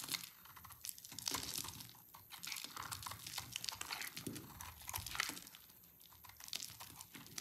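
A small black-bladed knife shaves and scrapes curls off a solid, hand-sized bar of dry orange soap held in hands with red-painted nails, and the shavings pile up below. The result is a steady run of dry, bright crinkling and crunching scrapes that swell and fade in short bursts.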